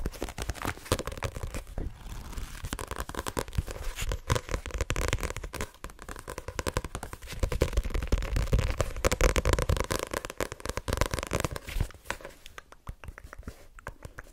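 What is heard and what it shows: Long nails rapidly tap and scratch the card cover and back of a white paperback copy of Assassination Classroom held in the hand. The result is a dense, crackling stream of soft, dull taps and brief scrapes, mostly low in tone with little high brightness. It swells louder through the middle before thinning out near the end.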